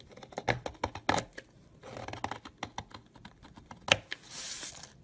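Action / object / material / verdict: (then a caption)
scrape / bar of soap shaved with a knife / soap / none. A hand with long purple nails holds a solid yellow egg-shaped soap bar and shaves it with a red utility knife. A quick series of short, crisp scrapes and cuts has bright, dry edges and is followed by a longer, hissing scrape. The crumbly shavings pile up.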